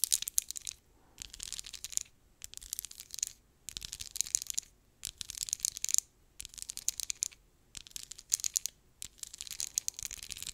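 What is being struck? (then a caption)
Plastic lip gloss tube. Long acrylic nails scratch and tap quickly along the ridged sides of a small, filled, textured brownish-pink plastic lip gloss tube. The sound is dense, bright, and crackly, almost entirely high-frequency, and it comes in bursts of about a second with brief silent gaps between them.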